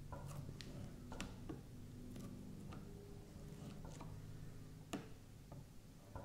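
A kitchen knife tip repeatedly presses and taps into a flat, solid strip of bad purple slime lying on a grey felt mat, scoring it while long purple-nailed fingers hold the end. The result is quiet, low, muffled squishing broken by short, sharp ticking clicks that fade quickly.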